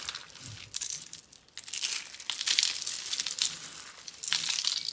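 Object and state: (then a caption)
Dry soap flakes being crushed. A pile of yellow and orange dry soap curls and flakes is crushed and crumbled between both hands and fingers on a dark board, with other soap roses lying untouched beside it. A dense, dry crackling and crinkling fills the clip, all bright and high with almost no low end, rising into louder crunchy bursts as the flakes break apart.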